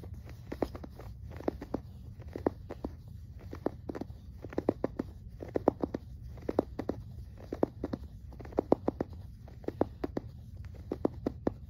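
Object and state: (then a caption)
Plush fabric toy. Fingertips scratch and rub the surface of a yellow, stuffed, soft plush toy made of fuzzy polyester fabric, about hand-sized or bigger, lying on a grey carpet. Quick, dry scratching strokes come in irregular clusters over a steady low rumble. They make short, soft bursts in the low-mid range with almost no high end.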